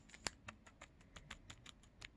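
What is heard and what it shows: A traditional Japanese Hina Matsuri snack, possibly leaf-wrapped, is set down and tapped with a series of light, quiet taps. Each tap is a short, dry, crisp click with no ring, and the snack sounds plasticky.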